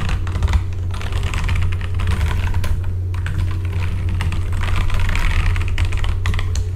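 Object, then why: Mechanical keyboard with plastic keycaps. Fingertips type steadily on a full-size backlit mechanical keyboard with plastic keycaps, producing a continuous run of quick, clacky keystrokes. A low, steady hum sits beneath the typing throughout.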